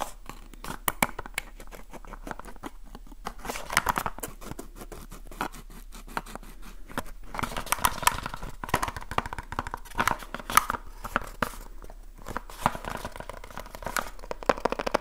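Fingertips tap and scratch quickly across the sides and corners of a small, hollow cardboard light bulb box. The result is a dense, continuous stream of short, dry taps and papery scratching, centered in the midrange around 1.2 kHz. The sound has no ringing tail and comes in brief louder bursts throughout.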